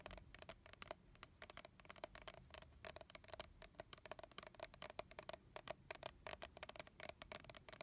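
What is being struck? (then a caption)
Plastic spray bottle. Fingernails on both hands tap and scratch closely on a red plastic body mist bottle with a colorful leaf label, hollow and holding liquid. The result is a dense, quiet stream of quick, bright clicks and scratchy ticks over a faint steady tone near 645 Hz.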